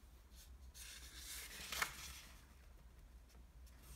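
Fingertips and a palm slide over, fold and rub flat the crease of a single thin, flat, square sheet of red origami paper resting on a wooden table. Quiet, bright papery rustling and sliding swell through the middle, with one crisp crackle of the fold at its peak before fading back to soft rubbing over a low, steady hum.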